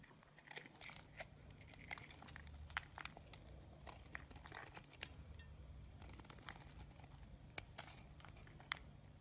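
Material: Soap.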